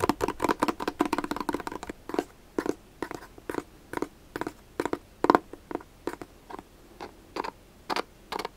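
A black, hollow, elongated hard-shell glasses case is tapped and scratched along its top and edges with fingertips and nails. A fast, dense run of dry, clicky taps with a hollow midrange tone lasts about two seconds, then slows to sparser, evenly spaced taps. Each hit dies away almost instantly.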